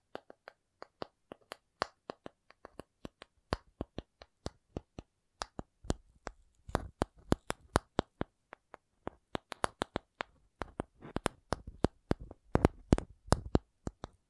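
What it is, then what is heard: Cardboard. A cardboard object is tapped repeatedly in an irregular rhythm, each tap a short, dry knock with a low thud and a faint bright click that dies away almost instantly. The taps are sparse and quiet at first, then become faster, louder and more clustered in the second half.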